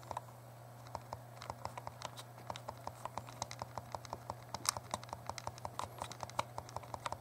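A small, hollow, translucent purple plastic Game Boy Color is held in both hands while the thumbs click its plastic buttons. The result is a rapid, irregular stream of short, dry clicks with a mid-pitched tick and a bright edge, over a steady low hum.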